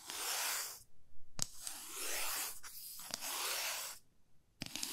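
Long fingernails scratch and rub along the surface of a 30 cm solid light wooden ruler held horizontally. Three long, bright, raspy strokes sound like tearing, separated by short sharp clicks and taps of the nails against the wood.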